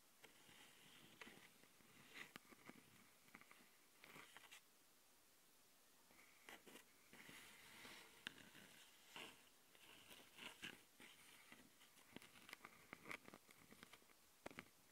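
Long nails, first glitter-painted and then dark-painted, scratch and tap on the metal mesh grille of a Tascam handheld recorder's microphone capsule, which sits on its small plastic body. Close, bright, dry rasping scrapes alternate with short, sharp ticks and taps. Each sound stops instantly, with no ring, over a quiet hiss.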